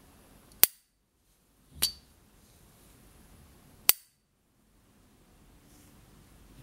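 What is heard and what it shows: A small, hollow, gold-plated brass S. T. Dupont Ligne 1 gas lighter from the 1970s, held in a white-gloved hand, has its hinged lid flicked open and closed with the gloved thumb as the lighter is turned in the hand. Three separate sharp, bright metallic pings ring out high and decay almost instantly, with near silence between them.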